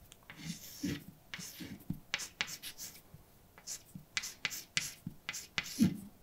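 A hand writes words with a white chalk stick on a large, flat, dark painted blackboard with a solid surface. Quick scratching strokes and sharp taps come in short bursts separated by brief pauses, with bright, gritty highs and a soft low thud under each tap.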